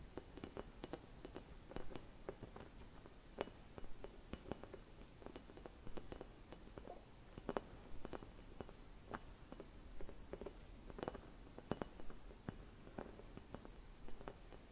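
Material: Glass.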